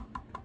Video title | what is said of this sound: Polk Signature Elite ES15 Bookshelf Speaker Disassembled | that sounds very dead to me. Very not hollow.